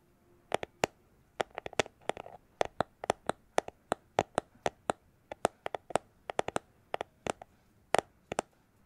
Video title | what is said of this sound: ASMR Tapping Sounds With Cyberpunk 2077 Background | it's a plastic glasses holder case